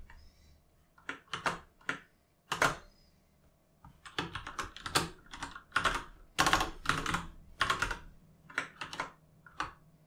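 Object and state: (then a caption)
Plastic mechanical keyboard. Two hands type with their fingertips on a full-size mechanical keyboard with plastic keycaps resting on a desk. Quick, bright plastic clacks come in irregular bursts separated by short pauses, each keystroke dying away almost at once.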